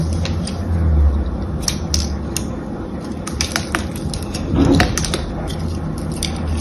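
A small knife or blade scratches and carves the patterned surface of a solid, palm-sized blue glycerin soap bar held in one hand. Short, crisp scraping clicks with bright edges sound over a steady low rumble and hum that fills the background throughout.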